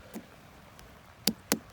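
Knuckle knocks on a large organic Crimson Sweet watermelon in the patch just before harvest: a faint early knock, then three sharp, short, dull thuds centered around 200 Hz with a bright click on top. The melon is judged ripe and more than ready because it vibrates when knocked, backed by a dried tendril and deep rib grooves, and it weighed 21.4 pounds.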